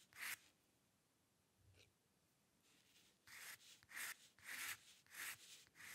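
A steel-nib dip pen with ink scratches dense hair lines across a flat sheet of white drawing paper resting on a dark table. There is one quick scratch, a long quiet pause with a faint stroke, then a run of short, bright, papery strokes centred around 2 kHz. The strokes come in a loose, uneven rhythm, each ending quickly.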